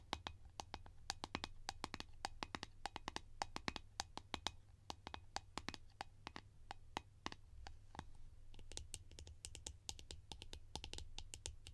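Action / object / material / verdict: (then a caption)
tap / plastic lids / plastic / none. Fingertips tap rapidly and irregularly on plastic lids, making a steady stream of short, dry, bright clicks that die away almost instantly. A constant low hum sits underneath the taps throughout.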